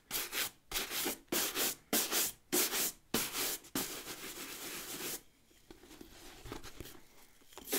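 A wooden-backed natural bristle brush scrubs the leather upper of a brown leather ankle boot, hollow and empty and held by hand. Six quick, bright, hissing strokes are heard, then a longer continuous scrub, followed by a quieter stretch of soft rubbing.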